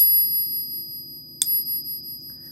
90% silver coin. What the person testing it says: that is the copper in it that's making it ring like that